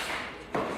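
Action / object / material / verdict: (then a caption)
tap / old wooden timber post / wood / sound. A 150-year-old wooden timber post with a damaged bark surface is tapped once during restoration of the Heungcheonsa Daebang hall, giving a short mid-pitched knock that rings briefly. The timber is sound and not rotten inside, so it is kept and reused; a dull sound from inside would have meant rot to the core and replacement.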